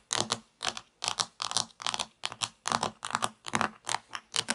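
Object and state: Plastic toy pizza.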